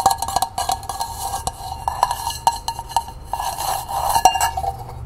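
A small hollow hammered copper cezve, held on its side, is tapped rapidly on its base and walls with long painted nails. The taps give short, bright metallic clinks with a ringing tone around 750 Hz that dies away quickly between strikes.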